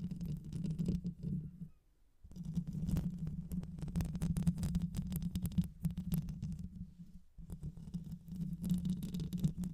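Long white nails scratch the rounded metal mesh grille of a black microphone with a hollow head, using both hands. The result is a dense, low, rumbling scratch with fast, uneven crackles and faint bright hiss, broken by a brief quiet pause near the 2-second mark and a shorter one near 7 seconds.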